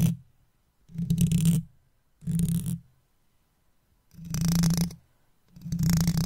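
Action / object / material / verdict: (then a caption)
scrape / metal mesh microphone grille / metal mesh / none. A wooden toothpick held in the fingers taps and scrapes the hollow metal mesh grille of an uncovered microphone. Five separate scratchy bursts are heard, the first already fading at the start, each a deep, boomy rumble with a bright, hissy rasp on top. Short silent gaps fall between them where the hand lifts away from the mesh.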